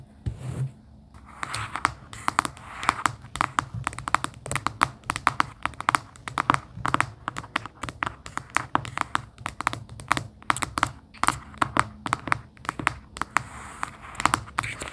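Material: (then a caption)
Cardboard. Long pink acrylic nails tap and scratch the cover of a small, closed cardboard sticky-note folder with a pastel plaid print, hollow and light, lying on a fleece blanket. Dozens of quick, dry clicks with a midrange tone around 1.2 kHz cut off almost instantly, mixed with soft scratchy rustling and no ringing.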